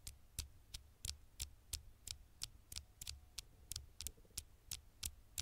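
Fingertips and long nails tap quickly on the flat glass screen of a dark smartphone held near the microphone. Seventeen sharp, bright clicks come at a fast, slightly uneven pace over a soft low thump, each dying away almost instantly.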